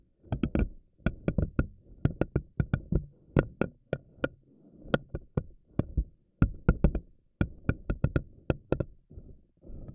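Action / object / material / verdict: flick / silicone spiky ball / silicone / none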